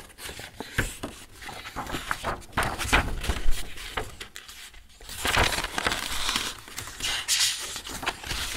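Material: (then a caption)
Paper. Both hands bend and leaf through thick white A4 paper sheets held in a metal two-ring binder, rubbing the paper. Dense, bright crinkling and rustling comes in quick overlapping bursts with low thumps, dips briefly near the middle, then swells into a steadier, brighter rustle.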